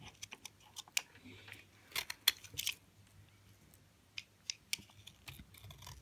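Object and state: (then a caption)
Bar of hard, dry soap. A utility knife blade scrapes and cuts along a thin, solid slab of hard, dry white soap held in the hand. About twelve sharp, crisp, bright clicks and scratchy crackles come in uneven bursts over a faint background. Each one stops dead with no ring.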